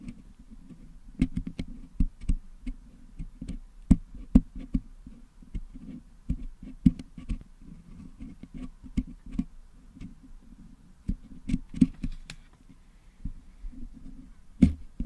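Two wooden toothpicks pick and scratch at the metal mesh grille of a Blue Yeti microphone, working putty out of the putty-filled grille. A steady run of short, dry, muffled clicks and scrapes follows, mostly low with almost no ring, with a few sharper, brighter ticks standing out.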